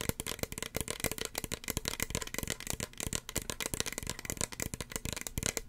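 Long fingernails tap rapidly on a small, hollow red plastic spray bottle with a white cap. The result is a dense, continuous stream of sharp, dry clicks with a bright top end and a faint low knock beneath. Each tap dies away almost instantly.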